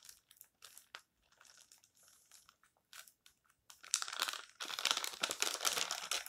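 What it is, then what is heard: Thin paper magazine pages. Fingertips turn and bend the pages of an open, thin paper tabloid magazine with yellow-edged pages resting on a stack, then flat hands rub and press them. Quiet, scattered bright crinkles and soft rustles come first, then build into louder, dense, continuous paper crinkling for the last few seconds.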